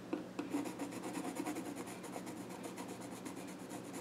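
A pencil scratches and rubs along the grain across the flat top of a small wooden child's stool while drawing. The sound is a soft, continuous rasp of quick back-and-forth strokes with a bright, papery edge and faint low hum underneath.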